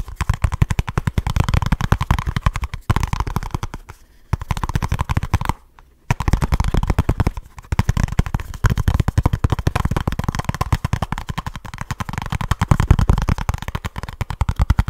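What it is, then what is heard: Cardboard box. Fingertips and short nails rapidly tap and scratch a small kraft cardboard product box with a printed label, its contents not visible, as it is turned in the hands close to the mic. The result is a dense, fast stream of dry, dull, low-heavy taps and scrapes with almost no ring, broken by two brief pauses around 4 and 6 seconds.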